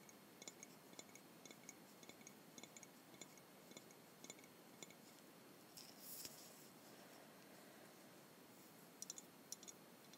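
A Jones soda glass bottle with a tall narrow neck, partly filled with blue liquid, is held in both hands close to a small clip-on microphone and tapped with long white-painted nails. A series of quiet, sharp, bright clicks and clinks sounds over a faint steady hiss, each dying away almost at once. Around the middle there is a brief, louder, rustling burst.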